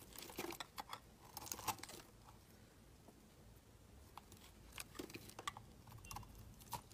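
A solid, hand-sized blue oval bar of soap is shaved with a utility knife blade into curled shavings. Quiet, crisp scraping and crunching strokes come in clustered bursts with bright, crackly texture, separated by a soft lull in the middle.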